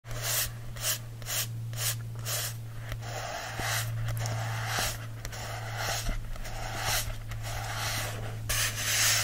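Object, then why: Paperback book with glossy card cover. Fingertips and short nails rub and scratch the front of a solid paperback book held in the hand, its glossy card cover over paper pages. The result is repeated dry, rasping strokes with bright hiss, over a steady low hum.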